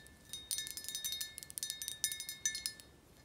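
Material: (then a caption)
Glass. Long acrylic nails tap a clear, rounded glass tequila bottle with a black cap, partly filled with golden tequila and held in the hand, while the bottle is tilted or shaken so the liquid moves. About seventeen quick, bright glassy clicks and clinks come in an uneven run, each dying away almost at once over faint steady high ringing tones, with almost no low end.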